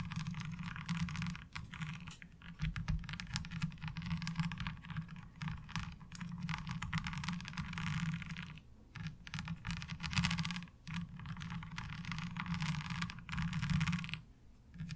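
Long nail tips tap and scratch across the ridges of a light blue ribbed plastic laundry washboard. The result is a dense, continuous patter of bright clicks and raspy scrapes over a steady low hum. Brief lulls come near 9 and 14.5 seconds.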